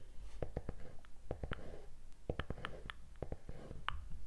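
Fingers and nails scratch and tap the toe cap and laced upper of a hollow, empty white leather sneaker held close to the microphone. The result is a quiet run of short, dry taps that die away almost instantly, mixed with soft scratchy rustling and a low, dull body beneath.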